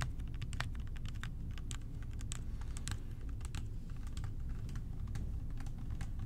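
Fingertips tap the sides of a clear plastic bottle with a blue cap, partly filled with purple cleaning liquid and hollow above it. Quick, light, bright clicking taps come in an uneven stream over a steady low hum.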